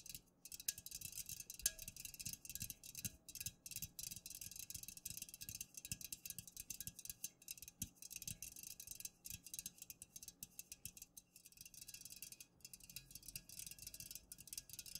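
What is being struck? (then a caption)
Aluminum drink can tapped with fingernails. Long nails tap rapidly on the sides of an unopened, full Pepsi aluminum can standing upright. The result is a dense stream of short, dry ticks with a bright, high metallic edge that dies away almost instantly, over a constant high hiss.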